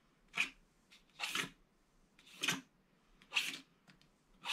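A pointed wooden stylus scratches diagonal hatching lines through the black wax coating of a small, thin, flat rectangular Winnie the Pooh scratch-art card with gold foil paper beneath, which lies on a paper-covered table and is held down by one hand. Five main bright, dry, hissy scratching strokes come at an uneven pace, with fainter short scrapes between them and quiet pauses in between.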